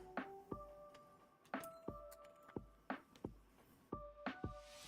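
3D-printed PPS plastic parts are dropped onto a bench, landing with short, bright clinks and rattles that have a metal-like ring. Impacts come in small clusters, each with a quick tonal ping that fades fast.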